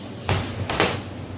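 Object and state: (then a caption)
Hollow-sounding baked bread loaf (done). Three sharp, hollow knocks on a baked loaf of Italian bread, each a short dull thud with a brief airy ring. The hollow sound shows the loaf is baked through and ready.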